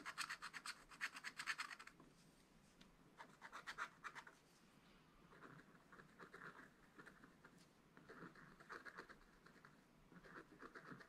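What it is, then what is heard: Wax-coated scratch-art paper. A pointed wooden stylus held in the fingers scratches lines into a thin black wax-coated scratch-art paper page of a spiral-bound notebook lying flat on a table. Quick, irregular bursts of short, dry scratch strokes sound bright and papery, with brief quiet pauses between groups.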